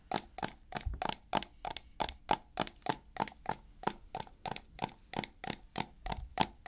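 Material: Plastic.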